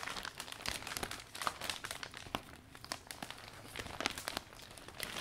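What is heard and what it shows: Hands grip, fold and rub the thin iridescent vinyl canopy of a new closed umbrella, folded around its metal shaft, while wiping it down. A dense run of sharp, bright plastic crinkles and crackles comes in quick bursts with almost no low end and no ring after each crackle.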